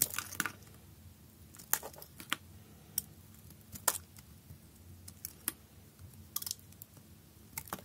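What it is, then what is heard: Bar soap cut with a knife. A utility knife blade scrapes across a solid green bar of soap held in the hand, cutting off small cubes. Short, crisp, bright clicks and crackling scrapes come in an irregular series over a quiet background, each one dying away almost at once.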